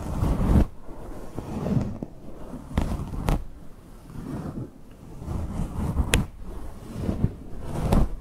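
Long acrylic nails on both hands scratch and rub a large, fluffy grey faux fur microphone windscreen. The result is a dense, muffled low rumble of soft fibrous rubbing that swells and fades, broken by a few brief, sharp crackling clicks.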